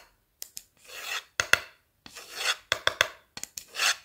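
The tip of a blue marker is dragged and scratched along the end and face of a light, solid wooden board held upright in one hand. Short, dry, bright ticks alternate with longer rasping scrape strokes that swell and then cut off. The sound is mostly high and hissy, with no low-end body and almost no ring.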